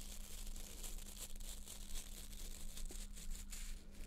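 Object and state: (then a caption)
Plastic nail brush. Long nails scratch and flick the stiff plastic bristles of a small white plastic nail brush held in both hands, sometimes moving fast. A quiet, dry, crackly rustle of bristles runs throughout, with brief bright flicks over a steady low hum.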